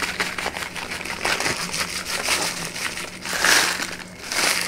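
A flat brown kraft paper bag with a label, held in one hand, is shaken, flexed and crinkled. Dense, bright crackling and rustling continues throughout, with louder crinkling surges near the middle and at the end, and a faint steady low hum underneath.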